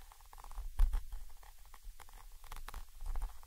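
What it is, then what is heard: Metal microphone capsule scratched and tapped. A thin orange stick held in the fingers scratches and taps the side of a Zoom H5 recorder's XY microphone capsule, a small chrome metal body with mesh grilles mounted on top of the recorder. Heard right at the mic, it comes through as soft, dull low thumps and a muffled, rumbling patter with almost no brightness. The louder bumps fade almost instantly.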